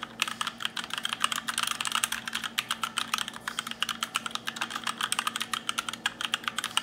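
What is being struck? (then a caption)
Mechanical keyboard with plastic keycaps. Fingertips type continuously on a compact black RGB mechanical keyboard with plastic keycaps. The result is a rapid, uneven stream of sharp, bright clicks and clacks, each cut off almost instantly, with no low-end thump.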